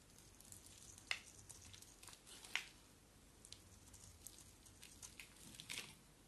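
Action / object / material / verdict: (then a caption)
scrape / soap bar / soap / none. A box-cutter blade is scraped across a small solid white bar of soap with a dark outer layer, held in one hand, so curls of soap flake off. The sound is a quiet, bright, crackly scraping made of many short dry ticks, with three sharper snaps standing out above the rest.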